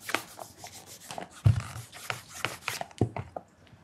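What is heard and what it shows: A black leather loafer fitted with a shoe tree is held in hand while fingers wrapped in a white cloth rub and mirror-polish the leather vamp. Soft, irregular cloth strokes produce brushing and swishing sounds, with a few sharper low thumps where the cloth presses harder against the shoe.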